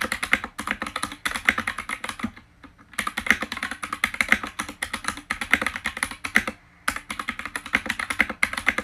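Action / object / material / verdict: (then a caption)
tap / mechanical keyboard with plastic keycaps / plastic / none. Fingertips type fast on the white plastic keycaps of an RGB-lit mechanical keyboard, close up. Rapid, bright, crisp clacks run in quick bursts, broken by two short pauses, and each keystroke dies away almost at once.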